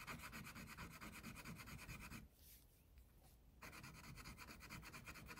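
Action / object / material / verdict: scrape / wax crayon on a paper sheet over a clipboard / paper, wax / none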